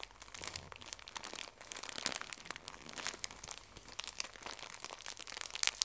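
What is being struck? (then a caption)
Pocket tissue pack in thin plastic wrap. A full pocket tissue pack in thin plastic wrap is pressed and crinkled by fingertips and nails. The result is a steady, quiet stream of bright, crackly plastic crinkles with short, dry snaps and almost no low end.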